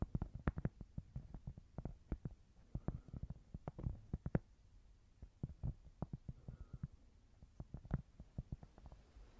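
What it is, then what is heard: Cork board. A small, thin, solid square cork board is held in both hands and tapped and scratched with long nails. Quick, soft, dull taps with a low, muffled body come in irregular bursts, with a brief scratchy patch partway through. Each tap dies away almost at once, leaving quiet gaps between clusters.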